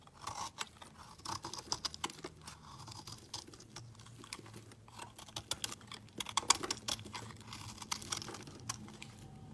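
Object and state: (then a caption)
Bar of soap being carved. A metal blade scrapes thin flakes off a solid, partly carved, pale green bar of soap held in the hand. The result is a quiet, dry, crisp scraping made of many rapid, bright ticks and crackles with a faint low hum underneath.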